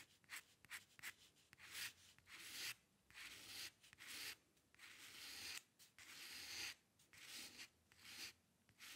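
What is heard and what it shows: A dip pen's metal nib scratches short hair strokes across a sheet of flat white drawing paper. The result is a quiet series of dry, bright scratching bursts, some quick and some drawn out, with short pauses between them and almost no low end.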